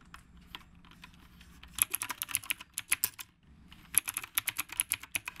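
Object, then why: Mechanical keyboard with round plastic keycaps. Fingertips type on the round plastic keycaps of a retro typewriter-style mechanical keyboard, producing about 26 sharp, bright clicks with almost no low end and very short ring. Faint, soft taps in the first couple of seconds give way to a run of louder, crisper keystrokes, a brief pause, and then another burst of steady typing.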